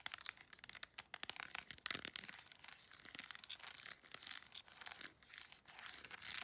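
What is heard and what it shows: Long nails rapidly tap the rubber buttons of a flat plastic LED remote control, then scratch across its plastic back. The first two seconds bring quick, dry, bright clicks. A steady, hissy rasp of scratching follows, with almost no low end and no ring after each contact.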